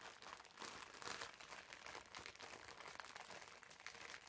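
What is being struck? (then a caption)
Foam bath sponge in thin plastic film. Fingertips squeeze and rub the clear plastic film wrapped around a green foam bath sponge. The result is a steady stream of quiet, bright crinkling and crackling with almost no low end.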